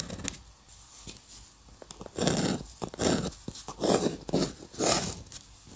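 A metal dip pen nib held in a hand scratches short strokes across a flat sheet of white drawing paper on a table. Faint ticks and light scrapes in the first two seconds give way to four louder, bright, rasping scratch strokes, evenly spaced about a second apart.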